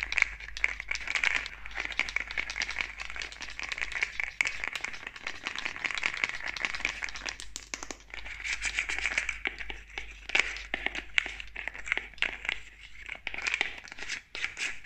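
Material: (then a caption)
Plastic. Long acrylic nails rapidly tap and scratch the spray nozzle, cap and body of a medium, hollow white plastic cosmetic spray bottle held in one hand. The result is a dense, continuous stream of sharp, bright clicks and crinkly scratching with a steady hiss-like band around 2 kHz and very little low end.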